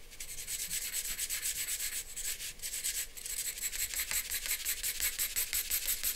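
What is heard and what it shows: A charcoal pencil shades and scratches across a flat white drawing paper sheet resting on a board in short strokes. The result is a steady, bright, hissy rasp with little low end, pulsing at roughly three quick strokes per second.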